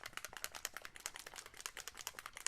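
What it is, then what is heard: Varnish bottle with mixing ball rattling. A bottle of Chameleon shimmer varnish is shaken so the mixing ball inside mixes the shimmer and shine into the varnish. A rapid, steady run of sharp, bright clicks and rattles comes from the ball rolling and knocking inside the bottle, with almost no low end.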